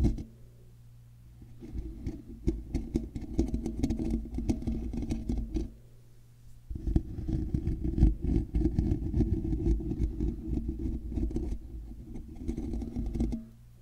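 Fingers and nails scratch the underside and sides of a hollow, black woven metal mesh microphone grille. Dense, low, rumbling scrapes and crackles come in two long stretches, separated by a short quiet pause, with faint brighter ticks on top.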